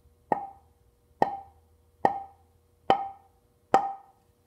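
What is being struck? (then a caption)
Alder tonewood board. A large, flat, solid plank of light-colored alder tonewood, held upright by hand with other boards behind it, is tapped five times on its face with a small mallet. Each tap gives a short, dry knock with a clear tone around 790 Hz that dies away quickly.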